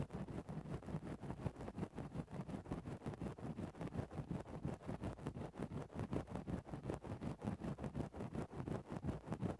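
A thin bamboo ear-pick stick held in the fingertips pokes and scratches into a soft, fluffy grey synthetic-fur windscreen covering a microphone. It makes close, muffled, low-heavy rustling scrapes, repeated in quick, fairly steady strokes about three per second. Each stroke is dull and brief, with no ring after it.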